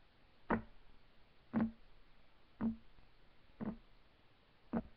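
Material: Wood.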